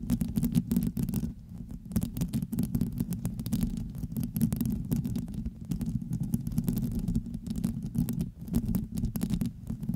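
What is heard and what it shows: Long acrylic nails scratch and tap across the hollow dome of a black metal mesh grille on a USB microphone. The result is a dense, steady low rumbling scrape with rapid, short taps and brief bright clicks, continuing throughout with only short dips in level.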